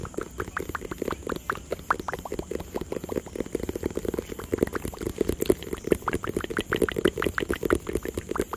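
A hollow white and blue cardboard product box, partly hidden behind the microphone at the start, is tapped and scratched with fingertips and nails. A quick, steady run of soft, dry, hollow knocks with a mid-low body carries on throughout, each tap dying away almost instantly, mixed with faint scratchy rustles.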